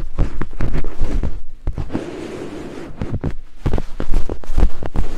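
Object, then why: Silicone microphone ear scraped with thin wooden picks. Two thin wooden picks held in fingertips scrape over white silicone binaural microphone ears, making rapid, deep, muffled thumps and brushing strokes at a quick, uneven pace. Midway the strokes soften into a quieter, continuous scratchy rubbing before the heavier thumping returns.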